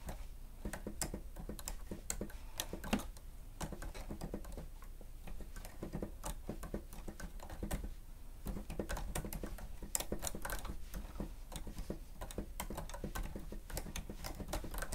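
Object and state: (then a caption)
Plastic stenotype machine. A grey plastic stenotype machine with a screen has its keys pressed rapidly with the fingertips and nails of both hands while typing. The result is a steady, irregular stream of short, dry plastic clicks and taps with bright edges and no ring, over a soft low rumble.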